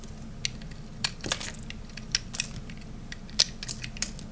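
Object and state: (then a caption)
Dry soap bar being shaved. A utility knife blade cuts and shaves the edges of a thinner, solid piece of peach dry soap bar. The result is a scattered series of sharp, bright, crunchy snaps and scrapes that die away almost instantly. A low, steady hum sits underneath.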